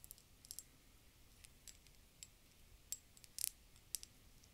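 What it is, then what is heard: Empty glass globe bottle. Long dark-painted fingernails tap an empty, round, hollow, clear glass bulb-shaped bottle held in both hands. The result is a quiet, irregular series of sharp, bright clicks and ticks with almost no ring, with a cluster of louder taps near the end over a soft low background hiss.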